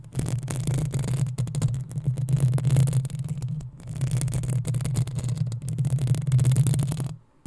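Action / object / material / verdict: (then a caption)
scrape / metal mesh microphone grille / metal / none. Long acrylic nails scratch the hollow metal mesh grille of a black desktop USB condenser microphone, working across the front and sides. The result is a dense, continuous run of scratchy rasping with a strong low hum-like body around 150 Hz and bright crackle on top. It briefly thins out near the middle and then stops abruptly just before the end.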